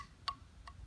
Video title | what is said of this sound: Prana & his flutes | It's an extremely hard wood. You can hear how it pings when I tap it.